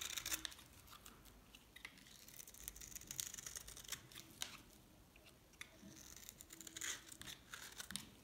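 A knife scrapes across a hand-held, solid green, dried soap bar, shaving off crunchy flakes. The sound is a quiet, dry run of bright, crisp scratches and crackles, with short sharp clicks scattered throughout.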